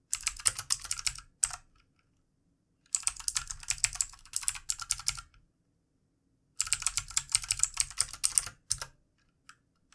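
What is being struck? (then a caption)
Plastic mechanical computer keyboard. Fingertips of both hands type continuously on a full-size backlit plastic mechanical computer keyboard with plastic keycaps. Rapid, crisp, bright key clicks come in three bursts separated by brief pauses, with a faint low thump under each burst and a few stray taps at the end.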